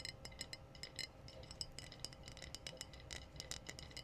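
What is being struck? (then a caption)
Glass wine bottle. Long blue-painted nails tap the body of a clear, empty glass wine bottle with a foil-capped neck in a quick, irregular series. Each tap gives a short, bright, high glassy clink that dies away almost at once, over a faint low rumble.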